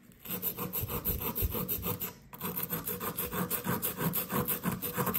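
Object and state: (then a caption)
Compressed sand block being scraped. A blue plastic chisel scrapes repeatedly at a solid blue compressed sand dig brick resting on a paper towel, making steady, rhythmic gritty scratching as loose sand rasps away. The strokes pause briefly partway through, then resume at the same quick pace.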